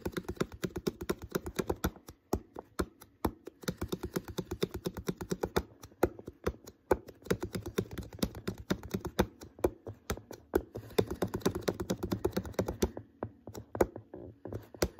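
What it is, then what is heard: Empty plastic water bottle. Fingertips tap repeatedly on the wall of an empty, uncapped, hollow clear PET water bottle, its neck and threaded mouth in view. The result is a fast, uneven stream of short, dull, hollow plastic taps with a low-mid body that die away almost instantly, with brief pauses between bursts.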